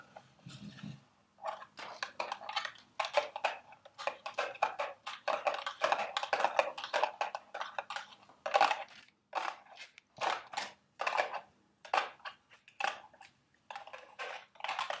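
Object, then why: Small cardboard candy box. Long red nails tap and scratch a small, hollow, carton-shaped cardboard candy box held in the hands. Quick bursts of dry, papery tapping and scratching come in clusters with short pauses between them, with a hollow midrange tone and no ring after each contact. A soft low thump opens the clip.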